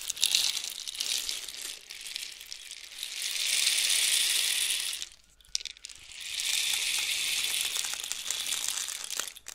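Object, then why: Cardboard rainstick with loose filling. A long, hollow, painted cardboard rainstick with loose filling is raised from horizontal and tilted one way, then the other, so the filling rattles down inside the tube. It makes a bright, hissing patter like falling rain that swells twice, with a short near-silent pause between the two tilts.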